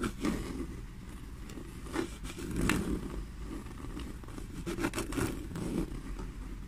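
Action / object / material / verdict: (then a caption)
scrape / small grained leather bag / leather / none. Long nails scratch and tap the grained surface of a small, hollow black leather bag. A steady low, rough scraping rustle runs throughout, broken by brief, brighter taps that stand out above it.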